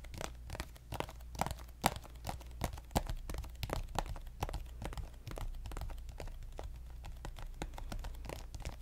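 A pink soft plastic lotion squeeze tube is tapped and lightly scratched with fingernails. Quick, dry, irregular clicks and crinkly scratches sound over a steady low hum, with a few sharper taps standing out early on.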